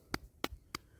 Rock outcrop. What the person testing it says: এটা যে পাথর যেমন নিরেট পাথর ঠিক আছে তো এখানে এখানে সেই ধরনের আওয়াজ বেরোচ্ছে না